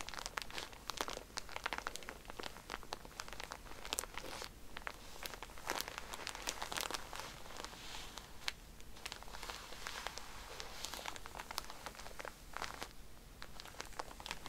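A soft pack of cotton pads in a plastic wrapper is squeezed by hand and scratched with fingernails, giving dense, bright crinkling and crackling. The sound comes as continuous short scratchy bursts with brief quieter gaps.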